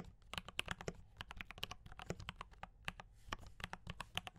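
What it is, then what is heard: Mechanical keyboard with plastic keycaps. Fast fingertip typing on a D84 mechanical keyboard with brown switches and cream and red plastic keycaps. It produces a rapid stream of about 29 sharp, clicky keystrokes with bright, short-lived clacks over a low thock.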